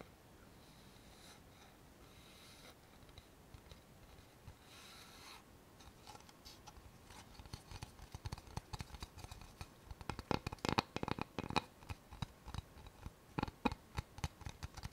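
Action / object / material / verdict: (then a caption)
tap / thin flat wooden board / wood / none. Long fingernails tap and scratch the face and notched edge of a thin, flat, solid light-wood board. The first few seconds are soft, hissy scratching. It then builds into quick, dry, sharp taps and clicks that grow denser and louder toward the end.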